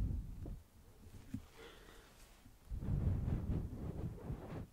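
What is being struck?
Nothing is struck.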